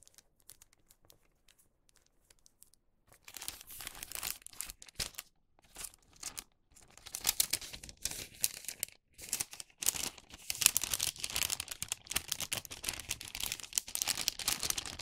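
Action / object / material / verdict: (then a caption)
scrape / wax paper bag / wax paper / none. A finished wax paper bag is pressed flat and then opened by hand. After a few quiet seconds of faint ticks, dense bursts of bright, crisp crinkling and rustling build up and continue to the end.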